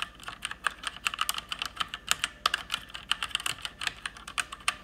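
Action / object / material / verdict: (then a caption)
tap / mechanical keyboard with plastic keycaps / plastic / none. Fast typing with fingertips and long painted nails on an RGB-backlit mechanical keyboard with plastic keycaps. It makes a rapid, uneven stream of bright, sharp plastic clicks and clacks. Each keystroke dies away almost instantly, with almost no low end.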